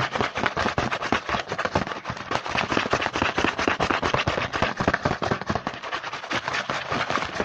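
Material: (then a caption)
Cardboard. Fingertips tap and scratch fast and hard on the printed front of a small cardboard Hanuta chocolate bar box held in the hand. A dense, continuous stream of sharp, dry taps and papery crackling scratches carries bright, crisp highs and little low end, with no pauses across the whole clip.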